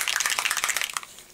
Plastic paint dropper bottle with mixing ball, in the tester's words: on entend tout de suite que c'est plus fluide. La bille, elle claque ici.